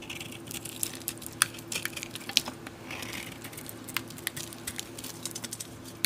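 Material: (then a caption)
Soap. A utility knife blade shaves flakes and chunks off the surface of a solid cream bar of soap held in the palm. Crisp, dry scraping and sharp cracking snaps come at an irregular pace, bright and short with no ring. A faint, steady low hum runs underneath.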